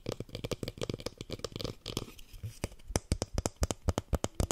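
A small lilac plastic plant pot holding a succulent and filled with soil is held close and tapped and scratched with fingernails. About two seconds of dense, rapid clicking and scratching give way to a sparser run of sharp, distinct taps, each with a low thump and a bright click and almost no ring.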